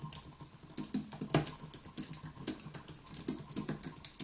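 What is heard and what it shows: Both hands tap rapidly with their fingertips on the plastic keys of a white Apple Magic Keyboard, an aluminium keyboard resting on a wooden desk. The result is a steady stream of short, dry clicks with bright tops and a soft low thud under each press. One key strike near the middle stands out louder than the rest.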